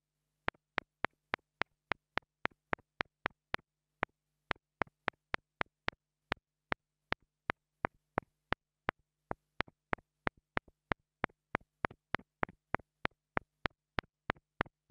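A small black plastic two-dollar mini lavalier microphone is tapped with a wooden stick in close-up, giving 46 sharp, dry clicks in a steady, quick rhythm. Each tap is a bright, very short tick with almost no ring, over a faint low hum.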